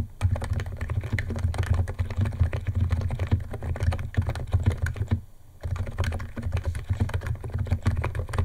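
Fingertips of both hands type fast on a white compact 68-key Niz ATOM 68 keyboard with electro-capacitive switches, white plastic keycaps and a plastic case, resting on a wooden desk. A dense, steady stream of short, deep plastic key clacks carries on with a brief pause just past the five-second mark. The typing then resumes at the same quick pace.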